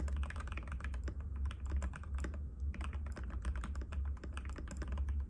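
Both hands' fingertips type rapidly and continuously on a compact cream-white mechanical keyboard with plastic keycaps and a hollow case, resting on a glass table. Quick, clacky key taps run throughout with short decays and a brief lull near the middle, over a steady low hum.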